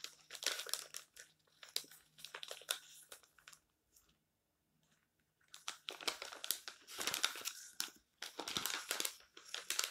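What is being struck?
Glossy paper magazine.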